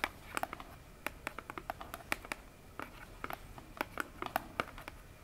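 Long nails tap and scratch the front face of a small, hollow orange cardboard box standing upright on a table. A quick, irregular run of short, dry clicks with a hollow midrange knock and bright edges, each dying away almost instantly. Soft scratching fills the quiet gaps between them.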